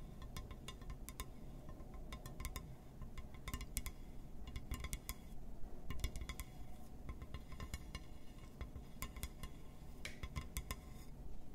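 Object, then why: Glass surface. Fingertips or nails tap and scratch on a glass surface, making quick, bright clinking ticks in irregular clusters. A steady low rumble sits underneath throughout.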